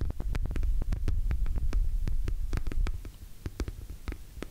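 Long nails and fingertips tap and scratch a hollow, orange glossy PVC cosmetic pouch held close to the mic. Quick, irregular taps land as deep, throbbing thumps over a steady low hum, each with a short bright click on top. The tapping is fuller for the first three seconds, then grows softer and sparser.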